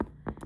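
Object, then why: Plastic storage bin with zipper lid. Fingertips tap on a plastic ornament storage bin with a zipper lid, used here as a craft bin. Short, dull, hollow knocks centred in the low mids, with almost no brightness and very little ring after each tap.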